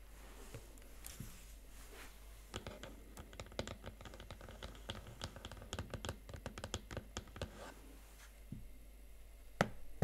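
Fingertips and nails press and tap the chiclet plastic keys of a Huawei MateBook X Pro, a slim laptop keyboard set in a blue metal body, in a typing motion. Quiet, irregular, rapid clicks and soft taps run over a faint low hum. A single sharper, louder click stands out near the end.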